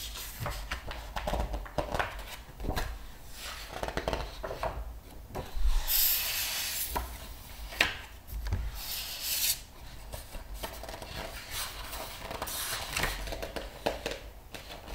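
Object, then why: Thick book with glossy paper pages. Fingers rub the glossy paper pages of a thick open art book, making soft, continuous dry rubbing and rustling with a low rumble underneath. The pages are flipped quickly, producing bright, airy swishes that rise above the steady rubbing before it settles back down.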